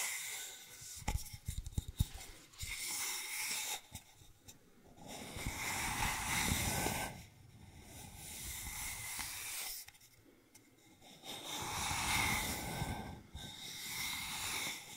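Fingertips and long nails tap and scratch along a long, hollow, empty brown cardboard mailing tube held upright in the hands. A cluster of quick, sharp taps with low thumps comes early. Long, bright, hissing scratching strokes follow, swelling and fading with short quiet pauses between passes.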